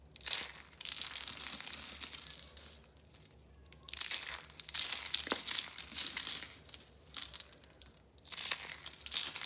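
Pink, orange and green rolled, dried soap-curl roses resting on orange paper are squeezed and crushed by hand with long nails into flakes. Bright, dry crunching and crinkling comes in bursts separated by quieter pauses, with crackles too dense to count individually.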